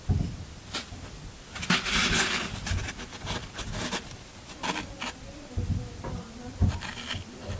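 A pointed tool scrapes the side of a solid green floral foam half block held in the hand, with crumbs falling onto the table. Dry, crunchy scratching comes in uneven bursts, with bright gritty hiss and soft low thumps. A longer, louder scrape sits near the two-second mark, and a faint steady high tone runs underneath throughout.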